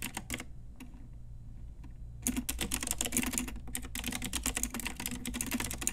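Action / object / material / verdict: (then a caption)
tap / plastic mechanical keyboard with round keycaps / plastic / none. A full-size pink Ajazz typewriter-style retro mechanical keyboard, with round plastic keycaps on a hollow plastic case, is tapped with long nails and fingertips. A few sharp clicks and a quiet stretch of sparse taps lead into fast, dense typing. The clacks are bright and plasticky, with a hollow low thump under each key.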